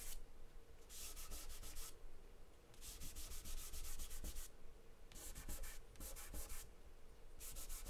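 Fingertips rub and smear charcoal across a large white paper sheet taped flat on a table. Bright, dry swishing strokes come in repeated bursts, like light sanding, over a steady low rumble, with quieter pauses between the rubbing passes.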